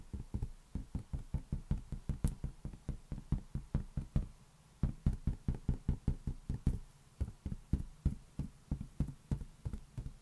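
A large, hollow, inflated green latex balloon resting on one palm is tapped with the fingertips of the other hand in a quick, steady series of about 38 taps. Each tap makes a deep, hollow thump centred around 70 Hz that stops almost at once, with a brief pause just after the four-second mark before the tapping resumes.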